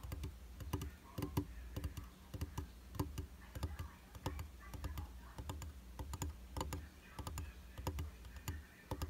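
Fingertips and short nails tap quickly and irregularly on the flat, solid glass surface of a round glass vanity mirror in a white frame. Each tap is a short, dry click with a soft low thump underneath and almost no ring, over a faint steady low hum.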